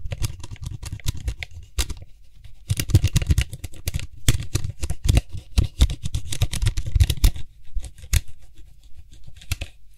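Fingertips and nails quickly tap and scratch the white hollow plastic cap of a Lysol spray can held in one hand. The result is rapid, dense patter of hollow, low-thudding taps with bright clicky scratches on top, broken by brief quieter lulls before the tapping resumes.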